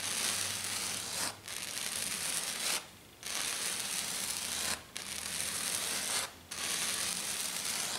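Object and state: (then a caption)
Glitter foam sheet being scratched. Long dark nails scratch fast across a flat silver glitter foam sheet, one hand at a time. Five sustained bursts of dense, bright, rasping scratching are separated by brief pauses, with almost no low end.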